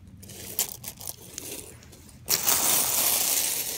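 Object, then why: Loose pile of small plastic and metal sewing buttons. Fingertips sift and stir a large loose pile of small mixed plastic and metal sewing buttons, making a few light, bright clicks. Then a louder, steady clatter of the buttons rattling together carries on to the end.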